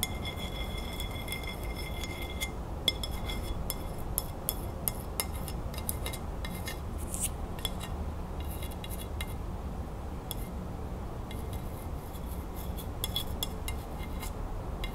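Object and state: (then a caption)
Ceramic plate. Long nails quickly tap and scratch the glazed front of a white ceramic dinner plate with a green crown print, held upright. Rapid, light clinks with a brief bright ring around 3.4 kHz sit over soft scratching and a steady low rumble. The taps are short and quiet, with a few sharper clicks standing out.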